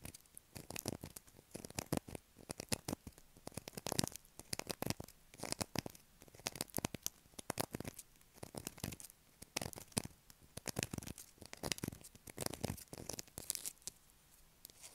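Long acrylic nails scratch a solid blue bar of soap held in the hand, carving off shavings. Dense bursts of dry, crackly scraping run throughout, bright and broadband with no ringing after each stroke.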